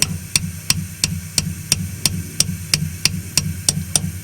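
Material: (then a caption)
Steel. A valve stem seal on a 2JZ cylinder head is tapped lightly onto its valve guide with a hammer on an 11 mm socket, producing 14 sharp, bright taps at a steady pace over a low background hum. The tapping sound changes once the seal bottoms out, showing it is fully seated.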